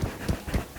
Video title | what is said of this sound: Try this Simple But Delicious Irish Soda Bread(No Yeast Bread) | when you tap it at the back it should sound hollow